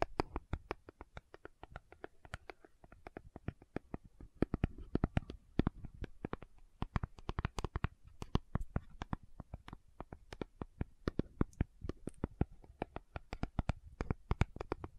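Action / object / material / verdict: tap / small cardboard box / cardboard / none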